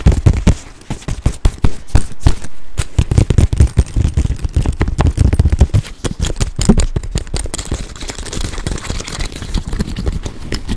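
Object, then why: Nylon fabric crossbody bag. Fingertips and nails tap and scratch the front panel of a small, hollow olive-green nylon crossbody bag with a printed logo, held up close to the mic. Rapid, dull, low thumps with very short decay dominate the first part, then give way to a steadier, softer scratching texture with a faint bright hiss toward the end.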